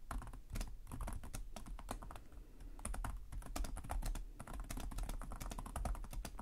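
Fingertips of both hands tap rapidly on the low-profile plastic chiclet keys of a black laptop with a hollow body, in continuous typing. The result is a dense, quick stream of short, dry clicks with a low, hollow thump beneath each bright tap, and each stroke dies away almost at once.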